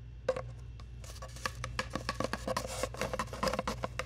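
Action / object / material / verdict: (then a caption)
tap / cardboard tube / cardboard / none. A long, hollow, brown cardboard tube is tapped and scratched with long nails close to the mic. Quick, dry, hollow taps with a resonant tone around 520 Hz mix with bright, rustling scratches over a steady low hum. The taps grow denser and busier after the first second.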